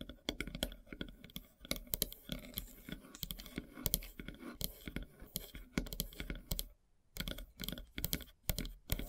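Long silver nails tap rapidly on a large, solid, flat slice of light-colored wood with a bark edge. The result is a dense run of short, dry clicking taps with a low, woody thump beneath bright edges and almost no ring. The taps briefly pause about two-thirds of the way through, then pick up again.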